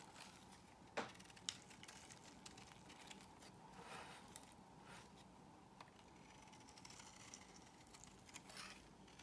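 A solid cream soap bar, from brands such as Zara, L'Occitane, La Prairie, Yves Rocher and Nesti Dante, is held in the hand and scored and shaved with a metal blade, the shavings falling onto a pile. Quiet, bright, crackly scraping runs throughout, broken by a few sharper clicks near the start and soft, short-lived swishes.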